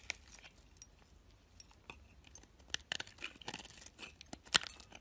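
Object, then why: Solid soap bar. A metal box-cutter blade shaves chunky flakes off a solid white soap bar with a green edge. The result is quiet, dry, bright scraping and crisp crunching cuts that end abruptly, with the sharpest crunch near the end.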